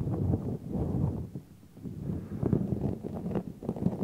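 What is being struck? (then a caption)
Synthetic fur microphone windscreen. Fingertips stroke and rub the long synthetic fur on both sides of a large, hollow, black furry microphone windscreen. The result is a deep, muffled rustling and brushing that swells and fades in waves, dipping quieter around the middle, with almost nothing bright in the sound.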